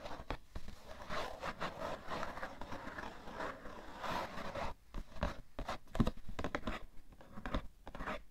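Fingernails slowly scratch across the top surface of a cardboard tissue box. The result is a soft, dry, papery rasping in uneven strokes, with little bright content, a few sharper ticks near the end, and almost no ring after each stroke.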